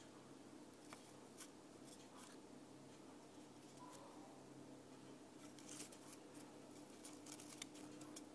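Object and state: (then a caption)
Laser-cut plywood ornament. Long nails scratch and tap a thin, flat, round laser-cut plywood ornament with a cut-out deer design, held in the hand. Quiet, dry scratching and brief, sharp high-pitched taps come and go over a steady low background hum, each tap dying away almost instantly.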